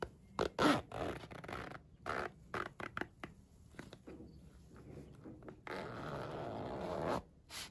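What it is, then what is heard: Faux-leather pencil case with plastic zipper. A holographic mermaid-scale vinyl pencil case with a blue plastic coil zipper rests on a windowsill while fingertips slide the zipper open and closed. Short raspy zips and soft scrapes give way to a longer, steady zipping run near the end. The sound is quiet and mid-toned, with little deep bass.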